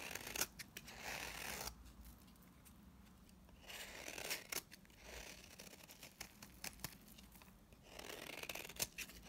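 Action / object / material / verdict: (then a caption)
scrape / bar of soap scraped with a blade / soap / none. A utility knife blade scrapes dry shavings off the surface of a solid pink bar of soap held in the hand. The sound is a series of bright, crisp scraping and crackling passes with sharp clicks, separated by quieter pauses.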